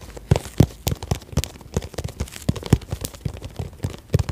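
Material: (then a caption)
Vinyl. Long nails tap and scratch along a hollow, cylindrical holographic pencil case made of iridescent croc-textured vinyl, held upright. A rapid, uneven series of short, dull taps with a low hollow thump dies away almost instantly, mixed with faint crinkly scratching between them.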